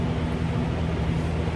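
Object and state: Nothing is struck.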